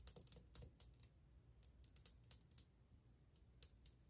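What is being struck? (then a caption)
Glazed ceramic wall tile. Long painted fingernails, one finger wearing a metal ring, tap quickly across old glazed white ceramic subway tiles on a solid wall. About sixteen sharp, bright clicks come in an uneven, rapid rhythm, each dying away almost instantly over a faint low rumble.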